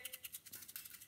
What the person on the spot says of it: these dryers you can hear them if I shake it